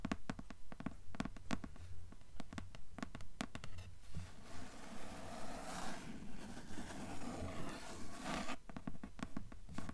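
Long nails tap and scratch a dark grey cardboard hardcover book cover. Quick, fairly regular, dull, low taps give way to a continuous rough, brighter scratching in the middle, then the tapping returns at the end.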